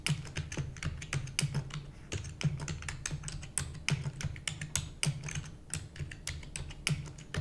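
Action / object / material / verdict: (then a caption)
tap / plastic computer keyboard / plastic / none. Rapid typing with long nails on a black plastic computer keyboard produces a quick, uneven stream of sharp, bright clicks and taps. Each click dies away almost instantly. A steady low hum sits underneath throughout.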